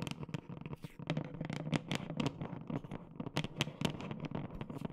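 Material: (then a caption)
Plastic. Long nails tap the plastic side of a large black plastic whey protein tub with a red band while the tub is held and rotated. The result is a quick, irregular run of short, hollow taps with a dull low body and bright clicky edges, each dying away almost at once.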